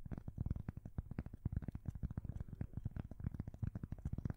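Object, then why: Thin cork coaster. A thin, solid square cork coaster, held close to a side microphone, is scratched and tapped with long fingernails. This makes a rapid, uneven series of soft, dull taps and scratches that are muffled and mostly low and thumpy, with almost no brightness. Each hit dies away at once, and the whole sequence stays quiet.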